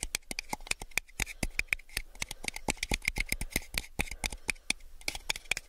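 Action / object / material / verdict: tap / small plastic cup / plastic / none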